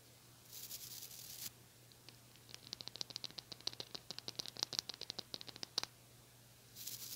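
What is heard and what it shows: Fingernails scratch and pluck the plastic bristles of a small white-bristled brush with a blue handle. A soft, airy brushing hiss is followed by a quick run of about thirty sharp, bright ticks and clicks, and the hiss returns at the end.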